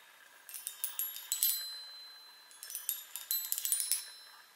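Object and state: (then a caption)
Metal tube chime tapped with nails. Long nails tap the hollow metal tubes of a small handheld chime instrument on a wooden frame, in two quick bursts of about fifteen light strikes. Each tap gives a bright, high, glassy ring that shimmers and fades within a fraction of a second. The sound is almost entirely high and airy, with no low end.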